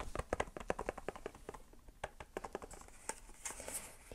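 Long painted fingernails tap and scratch a small, hollow, rectangular grey cardboard MERIT box held up in one hand. A quick run of dry, hollow, mid-pitched taps dies away almost instantly, then gives way to softer, brighter scratching and lighter taps.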